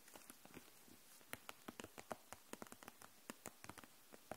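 Long nails tap the caps of dual-tip markers and the clear plastic case that holds them upright. The result is a quick, uneven run of soft, dry clicks and taps, with some brighter hits and very short ring.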